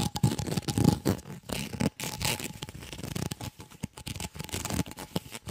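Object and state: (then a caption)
Corrugated plastic tube. A white, ribbed, hollow corrugated plastic tube held in both hands is scratched and bent by fingers along its ridged surface. Rapid, uneven scratching and crackling clicks run throughout, with a low hollow body under bright, raspy texture and a faint steady tone in the background.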